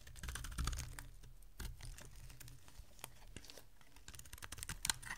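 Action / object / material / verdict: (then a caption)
scrape / bar of soap cut with a metal blade / soap / none. A solid oval bar of dry white soap is held in the hand and shaved into flakes with a metal utility blade. The clip is full of quiet, rapid, crisp scraping ticks and bright crackles over a low, soft rumble, with a few sharper cuts standing out.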